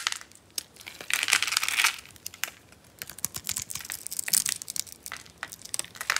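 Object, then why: Bar of soap. A pink, solid, hand-sized dry soap bar held in the palm is shaved and carved with a metal blade, producing crunchy scraping with chips coming off. Bright, crackly scrapes and quick clicking bursts fill the clip, with a denser, louder stretch of scraping in the first two seconds before it settles into rapid, sharp crunches.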